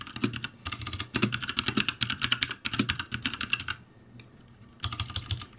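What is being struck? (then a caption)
Mechanical keyboard with plastic keycaps. Fingertips type rapidly on the plastic keycaps of a backlit ROCCAT G65 mechanical keyboard, producing a dense run of bright, sharp clicks with a low thock under each press. The typing stops for about a second near the end, leaving a quiet hiss, then resumes in a short final burst.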